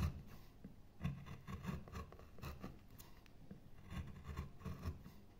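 A metal gouge repeatedly scoops and scrapes a light wooden carving blank, a pale solid wood board covered in shavings. About nine short, soft rasping strokes are heard, each with a dull low thud and a faint brighter scratch, fading quickly into quiet scraping between them.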